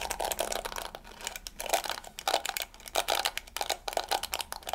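Long fingernails scratch and flick the yellow plastic bristles of a small round hairbrush with a pink plastic body. The result is a dense run of crisp, crinkly ticks and rustling bursts, bright and papery with a recurring tone near 700 Hz. Each flick dies away almost instantly.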